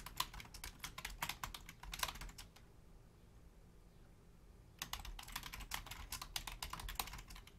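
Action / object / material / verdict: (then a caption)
tap / plastic membrane computer keyboard / plastic / none. Typing with long nails and fingertips on a black plastic Logitech full-size membrane keyboard with a hollow casing gives quick, bright clicky taps over a low hum. The typing stops for about two seconds in the middle, then starts again just as fast.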